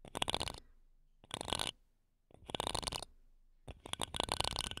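Wooden toothpicks held between long nails scratch the metal mesh grilles of two small silver condenser microphones. The result is four bursts of bright, crackly scratching separated by near-silent pauses, with rapid scraping detail concentrated in the high range.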